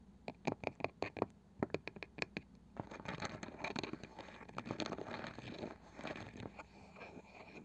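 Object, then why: Small round wooden box with woven side. A palm-sized round wooden box with a woven side and a pale wooden lid is heard first as a series of quick, sharp, dry taps with almost no ring. Long nails then scratch across the lid and around its edge in a continuous rough, bright scraping that swells and fades until the end.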